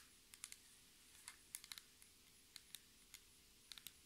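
Long red nails and fingertips of both hands tap a flat, solid black textured laminated tabletop in 12 quiet, irregularly spaced taps. Each tap is a sharp, bright click with almost no ring, over a faint steady hiss.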